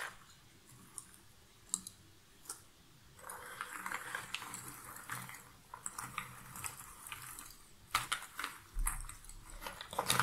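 A hand with long nails scratches and stirs through a pile of cardboard jigsaw puzzle pieces in a shallow cardboard box lid. A few sharp, isolated clicks give way after about three seconds to steady, dry, bright rustling and scraping as the pieces shift. Louder clattering bursts come near the end.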